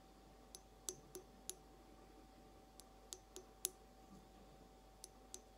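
Long acrylic nails tap slowly on the rounded base of a hollow, empty, clear glass carafe vase. Eleven short, bright, sharp clicks come at uneven intervals, each fading almost instantly, over a quiet background with a faint steady tone.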